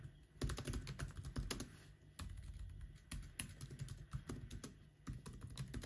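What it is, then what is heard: Laptop keyboard with plastic keys. Both hands type with their fingertips on the plastic keys of an aluminum laptop, making a quick, uneven run of short, soft clicks and taps. The keystrokes land as dull, low-heavy thumps with faint bright clicks on top. Each one dies away almost at once over a low, steady hum.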